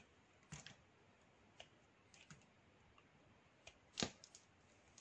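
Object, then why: Bar of black soap shaved with a metal knife. A metal knife blade shaves a small solid bar of black soap held in the fingers. Several short, crisp scraping clicks stand out over a quiet hiss, each bright and dying away almost at once, with the loudest just past the four-second mark.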